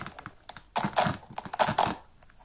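Fingertips and nails handle a small, hollow, empty printed children's synthetic sneaker with a rubber sole and velcro straps, peeling and pressing the velcro and scratching the upper. Quiet scratchy ticks give way to two loud, bright rasping bursts of velcro tearing, separated by softer crinkling, before the sound fades back to faint scratches.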